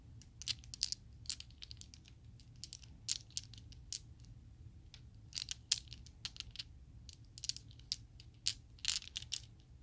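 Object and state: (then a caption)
Plastic dice set. A set of small, solid purple Chessex plastic polyhedral dice is cupped in a hand with long nails, then opened on the palm, shaken and rolled. Sharp, bright clicks and clatters come in scattered bursts over a steady low rumble, each click dying away almost instantly.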